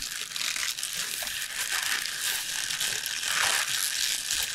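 A bunch of fresh lacinato kale leaves tied with a purple band lies on a board and is squeezed, crinkled and pressed with the fingers. It makes a steady, bright crinkling and crackling rustle, crisp and papery, with almost no low end and a few slightly louder crunchy swells.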